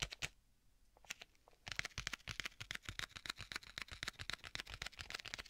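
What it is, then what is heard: Leather tablet case. Fingertips tap the cover of a black stitched leather folio tablet case with a strap, held in both hands. A few sparse, dry taps come first, then a quieter pause before a fast, steady flurry of bright, crisp tapping runs to the end with almost no ring after each tap.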